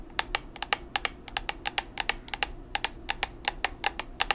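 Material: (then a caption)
Plastic. Long nails tap a small square black plastic Maybelline Fit Me pressed-powder compact, a hollow case holding powder, in a quick, uneven series of 25 sharp clicks. Each tap is bright and dry with almost no low end and dies away almost instantly, over a faint background hiss.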